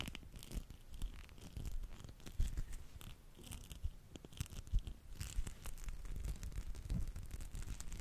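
A small dark teal spiky massage ball, made of rubber or soft plastic and likely hollow, is held in one hand close to the microphone and rubbed and scratched with the fingertips and palm. The result is a dense, irregular stream of soft scratchy crackles and brushing rustles over a low, muffled thumping, with occasional brighter scrapes.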